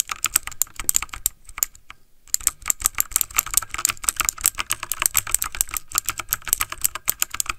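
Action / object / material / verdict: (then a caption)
tap / plastic mechanical computer keyboard / plastic / none. Fingertips of both hands type fast on a backlit plastic mechanical computer keyboard, producing a rapid stream of sharp, bright key clicks with almost no ring. The typing pauses briefly just after two seconds, then resumes at the same quick pace until the end.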